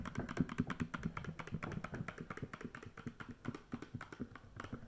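Long fake nails tap rapidly and continuously on a medium, hollow black-and-green 3-in-1 plastic body wash bottle held horizontally. The result is a steady stream of quick, dull clicks with a hollow low-mid body tone and almost no ring.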